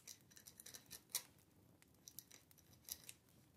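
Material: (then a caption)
Paper. A dip pen or quill nib scratches across a small, thin, flat paper card lying on a wooden table while writing. The sound is a quiet run of bright, dry scratches and short strokes with irregular timing and very little low end.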